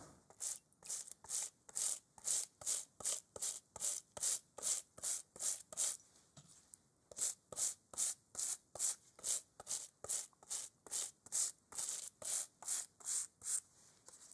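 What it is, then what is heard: Leather football being brushed. A small bristle brush scrubs a hollow, inflated, leather-covered American football held in a gloved hand. About thirty short, bright, hissing strokes come at a steady rhythm, with a brief pause around the middle.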